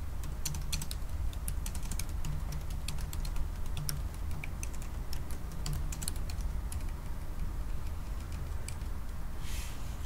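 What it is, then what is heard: Laptop keyboard being typed on. Fingertips of both hands type on the black plastic keys of a silver aluminium laptop keyboard. A steady run of quick, light clicks and taps sits over a constant low hum, and each click stops at once. A brief bright hiss rises near the end.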